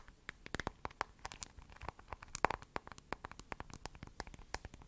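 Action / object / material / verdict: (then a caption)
tap / smartphone in plastic case / plastic / none. Long acrylic nails tap and scratch the back and edges of a hand-sized smartphone in a glossy lavender plastic case with gold edges and a heart on the back, held close to the mic. A quiet, rapid run of short, dry clicks mixed with faint scratchy rustling fills the clip, each tap dying away almost instantly with a mid-pitched tone and bright upper edges.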